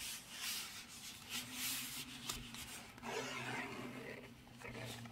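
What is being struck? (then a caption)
Textured cardboard box. Fingertips and short nails rub and scratch across the embossed surface of a pink textured paperboard Narciso Rodriguez For Her perfume box, about 15 cm tall, hollow and closed, held in the hands. The result is a soft, bright, papery rasping that swells and fades in uneven strokes over a faint steady low hum.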